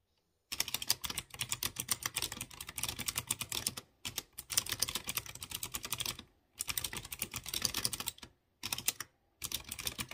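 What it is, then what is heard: Mechanical keyboard being typed on. A light blue plastic mechanical keyboard with round chrome keycaps on clear-housed blue switches is typed fast by fingertips with short nails. Bursts of rapid, bright, clicky key taps run for about ten seconds, broken by short silent pauses.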